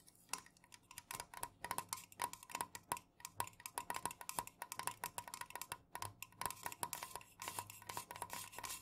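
Fingernails from both hands tap rapidly on the body of a tall, unopened, full metal can of Jumex guava nectar lying on its side on a fuzzy cloth. Each tap is a short, bright metallic click with a brief tone near 960 Hz that dies away almost at once. The taps come in quick, uneven bursts throughout.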